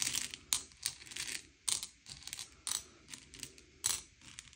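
Fingertips slide and push a pile of small, hard, sugar-shelled M&M's candy-coated chocolates across a grey plate, sorting them by colour. Bright, crisp clicks and rattling taps come as the candies knock against each other and the plate, with softer scraping slides between the sharper bursts.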